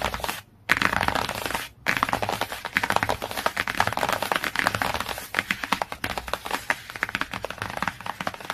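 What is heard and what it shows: A large hardcover children's encyclopedia, "My Very First Encyclopedia," lies flat, and its solid, glossy laminated cardboard cover is tapped and scratched quickly with fingertips and medium-long nails. Dense, dry clicks and crackling scratches run almost continuously, with two brief pauses near the start.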